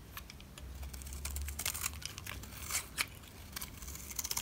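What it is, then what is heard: Dry soap bar being scraped. A white utility knife scrapes the face of a solid black rectangular bar of dry soap. A dry, crinkly scraping runs throughout, broken by short bright crackles and sharp clicks over a faint low hum.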